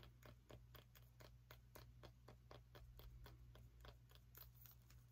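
Long nails tap and scratch a small orange pumpkin with a stem, making a rapid, quiet series of short, dry, bright clicks, about four per second and somewhat uneven, under a steady low hum. Each tap dies away almost instantly, with no ring.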